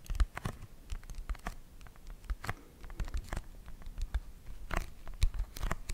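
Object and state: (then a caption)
Cardboard board book. A small children's board book, made of thick, solid laminated cardboard with a glossy green and purple illustrated cover, is held close to the microphone and scratched and tapped with long nails. Quick, dry taps with a soft low thud mix with crisp, crinkly scratches across the glossy surface, each dying away almost instantly.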